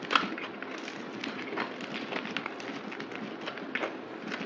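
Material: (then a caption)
Soap. A solid white bar of soap, held in the palm, is cut into slivers with a yellow utility knife, played at double speed. The blade makes a steady, dry, crackling scrape with quick crisp clicks throughout and a sharper snap near the start, bright and thin with almost no low end.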